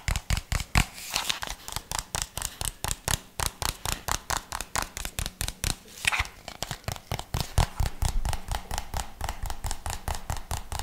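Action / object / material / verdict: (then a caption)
tap / plastic jar / plastic / none. Fingertips tap and scratch a white plastic jar with a red label in a quick, fairly uneven stream of short, dull knocks. Each tap has a deep, low thump with a bright, scratchy edge, and it dies away almost at once.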